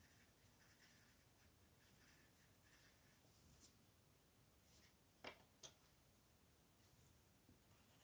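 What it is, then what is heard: Paper coloring page scratched by a pencil. An orange wooden colored pencil, held by a hand with long blue nails, makes small scratching strokes across a flat paper coloring page on a table. A quiet, steady, bright scratching runs throughout, broken by a few sharp, brief ticks.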